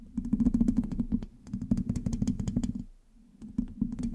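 Long acrylic nails on both hands scratch and tap the black, hollow metal mesh grille of a large USB microphone. Quick, dense bursts of bright clicky taps and scratches ride over a low hollow hum, fading into a short lull near three seconds before the tapping resumes.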